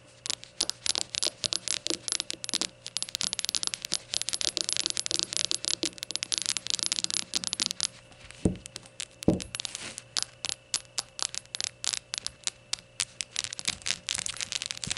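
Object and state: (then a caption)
Ceramic shot glass. A small glazed ceramic rainbow shot glass stands upside down on its rim while long gold nails tap rapidly along its sides. The result is a dense run of short, bright clicks and clinks with very little ring. Two slightly heavier knocks stand out near the middle.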